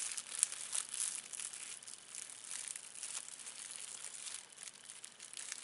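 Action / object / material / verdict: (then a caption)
scrape / thin plastic film wrapper / plastic / none. A thin, clear plastic film wrapper is balled up and crumpled with the fingertips. It makes a quiet, continuous, irregular crinkling and crackling that is almost all bright and high, with no low end.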